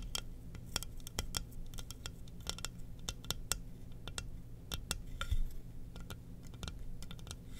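A glossy black hollow ceramic mug, held in both hands, is tapped and scratched with long nails, giving many short, bright clicks and scrapes that die away almost at once. A steady low hum runs underneath throughout.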